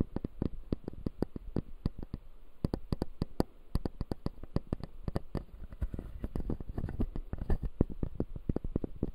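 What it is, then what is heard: Plastic dental teeth model. Fingertips scratch the white plastic teeth of a closed, solid, clear acrylic dental model, making a quick, steady run of dry clicks and scrapes. Each tick is short with no ring, weighted toward a low thump with a faint bright edge, over a soft rustling bed that grows denser in the second half.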